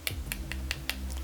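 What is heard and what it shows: An acrylic nail on a silicone practice hand is tapped to check whether it has cured, giving five sharp, bright clicks over a steady low hum. The nail has hardened and is ready, and it makes a much louder noise when tapped.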